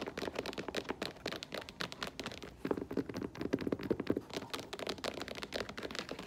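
An olive faux leather lace-up boot with a black rubber platform is held and turned, then set on the floor while long nails tap its toe and sole. The result is a rapid, steady run of short, dry clicks and taps with a soft midrange body and a bright edge, each dying away almost instantly.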